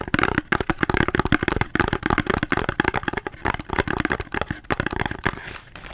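Fingers tap rapidly on a cardboard soap box, producing a dense series of short, dry taps with almost no ring. The tapping continues steadily for several seconds before thinning out and growing quieter at the end.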